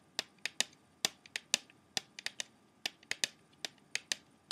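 An open plastic CD jewel case, held in one hand, has its clear plastic tray tapped quickly with the fingertips and short nails. About 17 sharp, bright clicks ring out at an uneven pace, each dying away almost at once, over a quiet background.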